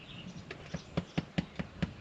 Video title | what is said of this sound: #72 The History Of Our Italian Farm From The Year 1653 | this sounds hollow